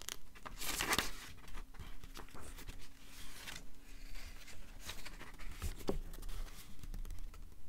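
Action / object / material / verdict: scrape / paperback book pages / paper / none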